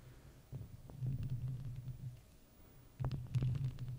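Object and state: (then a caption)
Metal microphone grille scratched and tapped. Fake plastic witch fingers with long red nails scratch and tap the round, hollow metal mesh grille of a microphone. The result is a muffled, low throbbing rumble with soft thuds in two bursts, a quieter stretch between them, and faint scratchy ticks above.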